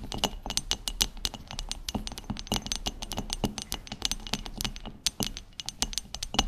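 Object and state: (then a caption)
Wooden cutting board. A round, solid wooden cutting board with contrasting wood strips, about 30 cm across and lying flat on a table, is tapped with long chrome stiletto acrylic nails from both hands. The result is a steady stream of rapid, crisp clicks with a bright, clicky tone around 2.9 kHz and a soft low thump beneath. Each tap dies away almost instantly, leaving a dry, busy patter.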